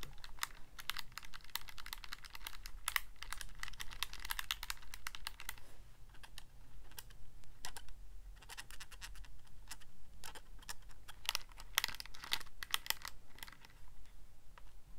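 Fingertips rapidly press the plastic keys of a handheld Casio calculator, producing a dense stream of sharp, dry clicks with bright highs and almost no ring. The tapping comes in quick bursts with short pauses, over a steady low hum.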